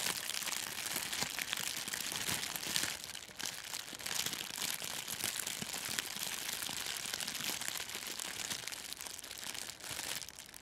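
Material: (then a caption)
Plastic film. A thin, clear, crinkly plastic cellophane gift-wrap sheet is held in both hands in front of a furry microphone windscreen and crumpled and scrunched with the fingers. This produces a dense, continuous stream of bright, crisp crackles and crinkles with almost no low end, at a fairly steady level for about ten seconds.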